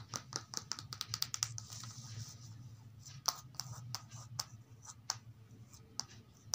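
A thin paperback children's reading book, "In the Garden," with a glossy card back cover, lies flat on carpet and is quickly tapped, scratched and traced with long acrylic nails and fingertips. Sharp, bright nail clicks come in a rapid, uneven series, with soft, hissy scratching and tracing filling the gaps between them. Each tap is dry and dies away almost instantly, over a faint low background hum.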